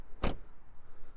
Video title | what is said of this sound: The 2021 Jaguar F-Pace SVR Sounds So Angry, but Looks So Gentle (POV Drive Review) | good solid sound of that door close